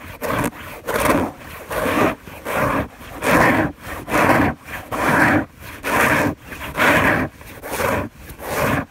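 Long nails scratch quickly back and forth across a white fabric sheet on a bed. Each stroke makes a dry, rasping scrape in the midrange, repeating at a fairly steady pace of roughly one stroke per second, with short quiet gaps between them.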